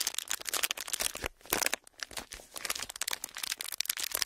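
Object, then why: Clear plastic film. A pleated clear plastic sheet with hollow folds is squeezed and crinkled with the fingers of both hands. Dense, bright crackling and crinkling comes in quick bursts, with brief quieter gaps. The sound is mostly high with almost no low end.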